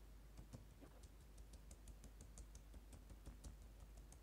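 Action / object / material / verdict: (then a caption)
tap / plastic laptop keyboard keys / plastic / none. Fingertips with short painted nails tap and type on the plastic keys of a dark laptop keyboard, with a lapel mic lying untouched on the keys nearby. Soft, bright clicks come at an uneven pace of about two per second over a steady low hum. Each click dies away almost at once.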